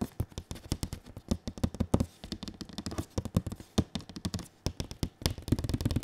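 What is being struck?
Printed cardboard box.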